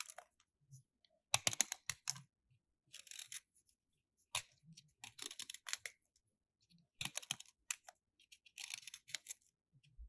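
A small solid white plaster block from a gemstone dig toy is held in the hand and scraped and carved with a metal utility knife blade, and plaster crumbs fall off. Quiet, dry, bright scratching and crackling come in short bursts separated by silences. Each scrape stops dead with no ring.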